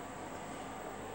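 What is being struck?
Nothing is struck.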